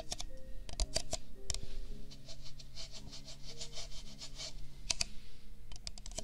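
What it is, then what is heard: Paper cup. An empty, hollow pink-white disposable paper cup is held in the hand beside a binaural microphone and tapped with the fingertips. Sharp, dry clicking taps cluster at the start and end, with a stretch of bright, rhythmic scratchy rubbing in between, all over a steady low hum.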